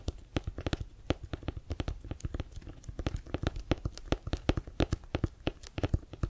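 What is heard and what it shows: Fingernails scratch the laces and textured cover of a brown Wilson leather-covered American football, hollow and inflated and held in both hands. Dozens of quick, dry scratchy clicks come in an uneven rapid stream, each with a low hollow thump and a bright crisp edge that dies almost instantly.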